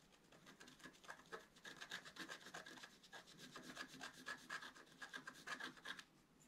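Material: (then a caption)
Coated paper. A wooden stylus scratches and rubs across the coating of a flat black-coated scratch art card in quick, uneven strokes. Each pass gives a dry, bright rasp with a faint squeaky tone around 1.7 kHz, running steadily for several seconds before easing off at the end.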